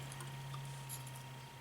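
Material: Nothing is struck.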